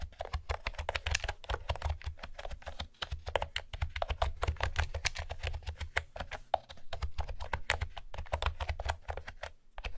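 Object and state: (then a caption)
Plastic keyboard with round keycaps. Fingertips with long nails type steadily on a light blue plastic retro keyboard with round pastel keycaps and a hollow housing. Rapid, dry clicky taps follow one another with almost no ring, each carrying a bright edge over a hollow low thump from the housing. There is a brief pause near the three-second mark and a quieter stretch just before the end.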